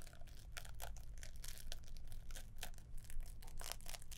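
A green-wrapped gift box with a gold bow is held up while long nails scratch across its paper and ribbon. The sound is a quick series of dry, bright crinkling scratches over a steady low hum.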